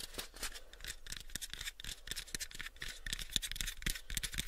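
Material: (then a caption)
Wood. A pale, unfinished, hollow wooden box is held in both hands while fingernails scratch its surface and fingertips tap on it. Bright, hissy scratching runs throughout, broken by quick, irregular, dry taps with short low thumps that die away almost instantly.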